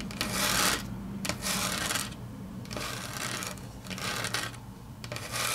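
Long natural fingernails tap and scratch across a large, flat, solid grey wood-grain laminate tabletop. Bright, hissy scraping strokes come in uneven bursts, broken by sharp clicks from the nails striking the surface. A faint low hum sits underneath throughout.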